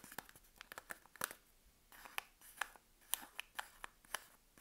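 Long acrylic nails scratch and tap the wrapped face of a sealed Palmolive bar soap, about 90 g, still in its paper wrapper and held in one hand. About fourteen sharp, dry clicks with very short ring are heard, each with a crisp, bright papery crackle and soft scratching between them, and almost no low end.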